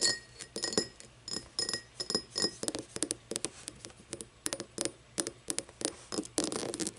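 An empty cut-crystal glass tumbler is held on its side while long painted nails tap and scratch its star-cut base and sides. A quick, uneven run of bright, sharp glassy clicks and clinks is heard, mixed with brief scratchy strokes. Each tap dies away almost at once with only a faint ring.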